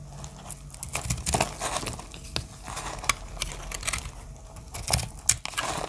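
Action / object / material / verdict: scrape / soap bar / soap / none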